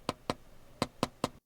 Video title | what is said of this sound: XIAOMI Leica Leitzphone 언박싱 | 좀 별로인 게 뒷면이 사실 유리가 아니라 플라스틱이야.